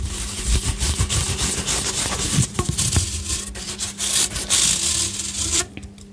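A long, hollow pink corrugated plastic pop tube toy is held in both hands while fingers bend it and pull it straight, rubbing and scraping along its ridged surface. The result is a continuous bright, rasping scrape with soft low thumps and crinkles over a steady low hum, fading quieter at the very end.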